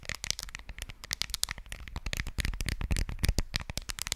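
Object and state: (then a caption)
Smartphone case tapped with fingernails. Long fingernails tap rapidly on a smartphone in a white case, held sideways in both hands over the microphone. The result is a quick, irregular stream of sharp, dry clicks, each with a bright tick and a soft low thump, dying away almost instantly.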